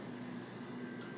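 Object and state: Nothing is struck.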